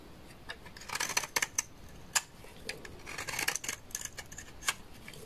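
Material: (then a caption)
Soap. A utility knife blade shaves a large, solid, beige bar of dry laundry soap, with curls falling away. Crisp, dry scraping and crackling bursts come in uneven clusters, mostly bright and high with very little low end. Each bit dies away almost instantly against a quiet background.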